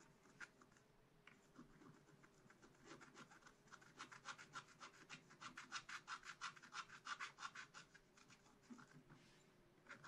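A wooden stylus scratches detail lines into a black-coated scratch-art card bound in a spiral book. Quick, bright rasping strokes repeat in a steady rhythm, growing louder and denser through the middle before easing back to softer scratching.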